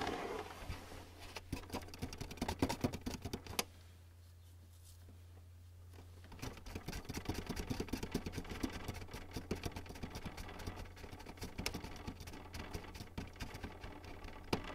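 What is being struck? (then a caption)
Plastic inkjet printer casing. Fast fingertip and nail tapping and drumming on the top front edge of a white plastic Canon inkjet printer with a hollow casing produces quick, dry clicks over a steady low hum. The tapping stops for about two and a half seconds near the four-second mark, leaving only the hum, then resumes and continues to the end.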